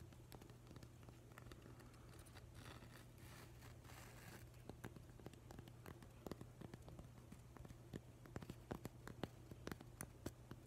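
Fingernails tap and scratch the grainy surface of a solid, weathered driftwood plank held close up, over a steady low hum. Soft scratchy rustling builds into a brief, denser scrape around the middle, then gives way to quick, dry, sharp taps that grow more frequent and slightly louder toward the end.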